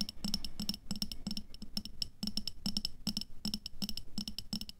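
Long fingernails on both hands tap rapidly on the walls of an upright clear glass jar with a black lid, full of red water beads. A quick, irregular stream of sharp, bright glassy clicks rings high, each dying away almost at once over a soft low thud.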